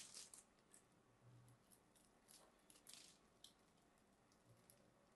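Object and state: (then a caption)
Bar of soap being carved. A small black knife scrapes and carves the top edge of a palm-sized solid cream soap bar held in one hand, knocking crumbly bits off. Quiet, bright, crackly scraping comes in short bursts over a soft hiss, each dying away quickly.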